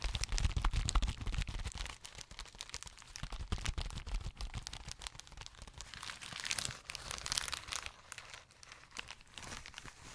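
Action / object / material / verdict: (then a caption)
scrape / plastic bubble wrap sheet / plastic / none. A folded sheet of clear plastic bubble wrap is held in both hands close to the mic while fingers squeeze, pop and crinkle it. Rapid, irregular sharp crackles and pops with bright, dry snaps run throughout, heavier low-end handling thumps in the first couple of seconds, and no ring after each pop.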